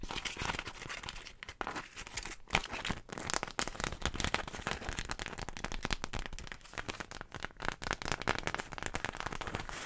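A large floral beeswax wrap, a waxed wax-coated cotton fabric sheet, is crumpled, crinkled and rubbed with hands and long nails beside the mic. It gives a dense, continuous run of papery crackles and crinkles spread from low to bright high tones. Louder snaps and crunches stand out from the steady texture throughout.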